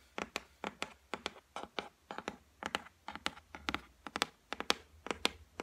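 Long white nails tap and scratch across the solid, flat top of a white laminated shelf, making 26 quick, dry clicks in an uneven rhythm. Each tap is sharp and bright with almost no low end and no ring, separated by faint scratchy brushing between the hits.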